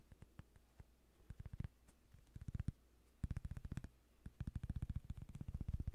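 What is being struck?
Cork coaster.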